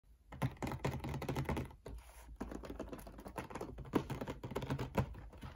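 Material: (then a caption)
Cardboard. Fingertips and nails tap and scratch across the lid of a flat, printed, medium-size cardboard box that is hollow and holds a toy set, while hands grip its edge. Rapid, dry, muffled taps with a hollow low thump follow one another in a steady patter, each dying out almost at once. The tapping pauses briefly near the two-second mark and then resumes.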